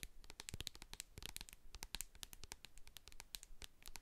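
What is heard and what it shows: Long acrylic nails tap and scratch the sides and label of a medium hand-held plastic jar of hair co-wash with a silver metal lid, full of white cream. The result is a quiet, rapid stream of crisp, bright clicks and short scratchy strokes, each dying away almost instantly.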